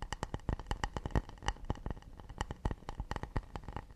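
A round acacia wooden plate is held in one hand while the fingernails of the other hand rapidly tap and scratch its rounded underside. Quick, dry, woody clicks come in an uneven stream, each with a faint hollow tone around 2.2 kHz that stops almost at once, over a soft scratchy rustle.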